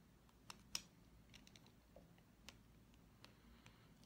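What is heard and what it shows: A green-painted, solid wooden pencil with a metal ferrule is held in the fingers and tapped with long fingernails along its length. Seven quiet, sharp, high-pitched clicks sound at uneven intervals, each dying away almost instantly over a low background hum.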